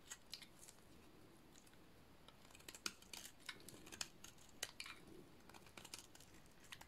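A solid purple dry soap bar is shaved with a utility-knife blade. Quiet, irregular dry scraping and crisp cutting clicks are heard, with sharp high, bright transients over a soft low rustle. Each shaving sound is short and dies away almost instantly.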